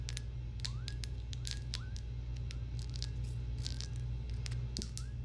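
A small, clear, empty-looking glass jar is held in the hands close to the mic while long acrylic nails tap and scratch across it. Quick, bright clicks and short rising squeaky scrapes sound over a steady low hum that stays at an even level throughout.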